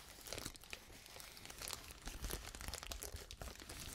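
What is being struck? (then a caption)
Plastic bubble wrap sheet. A large sheet of clear plastic bubble wrap is pressed close to the microphone and scratched and rubbed with long nails. It gives a steady stream of soft crinkling and crackling with bright, dense texture and a low rumble of handling underneath. It grows busier and louder in the second half.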